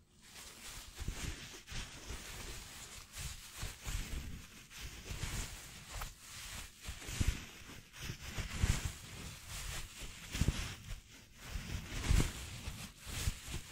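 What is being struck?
Nothing is struck.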